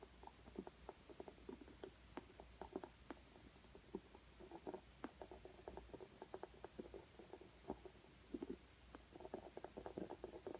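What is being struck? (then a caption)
Coloured pencil on acrylic-textured stretched canvas. A green coloured pencil held in the hand is rubbed and scratched over a rough, bumpy acrylic-textured stretched canvas while shading. It makes a quiet, dry, scratchy rustle broken by many short, sharp ticks and clicks as the tip catches on the raised texture. A faint low hum sits underneath throughout.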